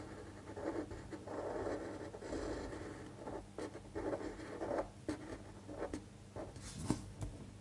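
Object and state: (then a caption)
Paper sheet written on with a pen. A fine-point pen scratches across a thin white paper sheet lying flat on a table while tracing cursive words. Soft, steady scratchy strokes run in quiet bursts with brief pauses, and a few sharper short ticks come near the end. A low background hum sits underneath throughout.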